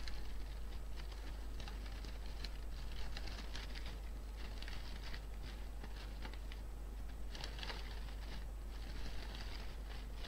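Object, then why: Artificial flower bouquet, fabric or plastic. Painted fingernails and fingertips scratch, squeeze and rustle the petals and leaves of an artificial pink-and-white flower bouquet, likely fabric or plastic. Soft, crinkly rustling and bright crackling bursts come in uneven clusters over a steady low hum, at a quiet, even level throughout.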